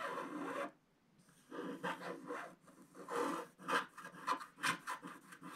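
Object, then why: Coated scratch-art paper page scratched with a wooden stylus. A wooden stylus scratches dense strokes across a flat scratch-art paper page in a book resting flat, removing black coating stripes to reveal the gold foil beneath. The result is a dry, raspy scraping centered in the midrange, starting with one sustained stroke, a short pause, then a run of quick overlapping strokes that rise and fall in level.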